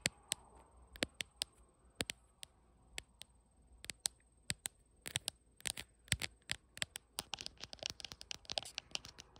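Long nails tap around the camera bump and on the glass back of a bare blue iPhone with no case, held in the hand while it records. Sharp, bright clicks start sparse and speed up into a dense, rapid patter over a faint steady high hiss.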